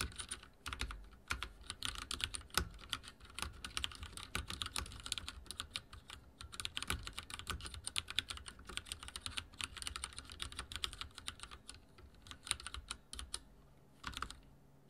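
Fingertips type rapidly on a backlit mechanical keyboard with dark plastic keycaps and a silver frame. A steady stream of short, bright clicks and clacks runs throughout, easing briefly near the end.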